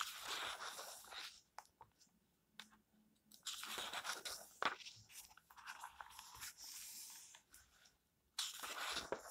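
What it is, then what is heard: Paper book pages. Fingertips smooth and turn the thin paper pages of an open paperback book lying flat on a white table. Bursts of bright, crisp rustling and crinkling come between short quiet pauses.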